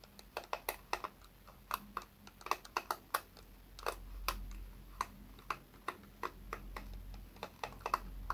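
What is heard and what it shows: Fingertips and nails repeatedly flick and scratch across the white pin bristles of a small pink plastic hairbrush with a cushioned pad, held up in one hand. The result is a quick, irregular series of short, dry, bright clicks and ticks, each dying away almost instantly, over a faint, steady low hum.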